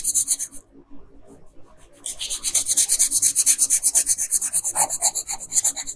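A red colored pencil rubs across a flat printed paper coloring sheet in rapid repeated strokes, filling in the dress. Bright, scratchy rasping strokes come in a quick rhythm, fade to a quieter pause for about a second, then return louder and steady to the end.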